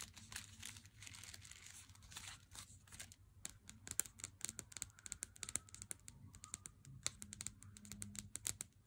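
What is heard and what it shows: Fingertips and nails tap on a Lindt chocolate bar in its cardboard sleeve held in hand, first on the front and then along the thin side edge of the box. Dozens of quick, dry, papery clicks and light scratches come through, bright and crisp with almost no ring. A faint low hum sits underneath.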